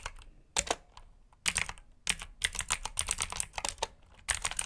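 A black full-size plastic mechanical keyboard with clicky blue switches, plastic keycaps, an RGB backlight and a hollow body is typed on rapidly with both hands' short fingertips. Bursts of sharp, bright clicks and clacks come in quick runs with brief pauses between them. Each press ends almost instantly, with little low-end thump.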